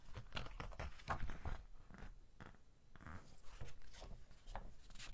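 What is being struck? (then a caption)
Thick glossy-paper magazine pages. Fingertips rub and press the pages of a thick glossy-paper magazine flat as it lies open on a table, then lift and flip a page. Soft, dry rustling and brushing alternate with faint low thumps, and a brief sweeping swish marks the page turn before the quiet rubbing resumes.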